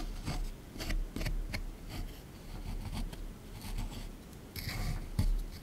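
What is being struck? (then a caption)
Plaster block scraped with a plastic pick. A small plastic pick held in the fingers repeatedly scrapes a hard plaster block from a dinosaur excavation kit, sitting in a tray with a broken, crumbly surface. Short, dry, gritty scratching strokes come in uneven bursts over a low, muffled rumble, with a sharper scrape or knock near the end.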